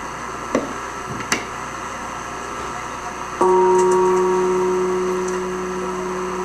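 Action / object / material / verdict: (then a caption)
tap / bronze church bell / bronze / none. The clapper of the big bronze bell in the St-Théophile church tower is tapped lightly, showing that a small tap is enough to make the bell resonate. After a couple of faint knocks, one gentle strike sets off a loud, steady ring with a clear mid-pitched tone and a deeper hum beneath it. The ring sustains and fades only slowly over the remaining three seconds.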